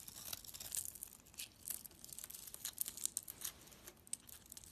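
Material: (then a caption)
Soap. A palm-sized bar of soap with a purple glittery outer layer and a creamy white interior is held in the hand while a utility knife blade carves and scrapes off the outer layer. Quiet, dry, bright scratching and crisp shaving sounds come in a rapid string of short bursts, with almost no low end and no ring after each stroke.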